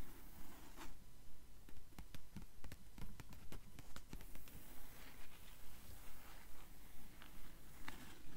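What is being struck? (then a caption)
Paper pages of an open hardcover book. Long nails tap and scratch the paper pages of an open blue hardcover book with yellowed page edges. About 17 soft, evenly paced taps repeat roughly twice per second, mixed with a faint dry scratching. The sound stays quiet and dull, with most of its weight in the low range.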